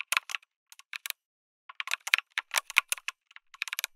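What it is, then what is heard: Mechanical keyboard typing. Fingertips of both hands type steadily on an RGB-lit MonsGeek M1 mechanical keyboard with an aluminum case and red and grey plastic keycaps, resting on a dark desk. Quick bright, clacky keystrokes come in bursts, with a short pause near the start before the typing picks up again. Each click is crisp and dies away almost instantly, with no low thump.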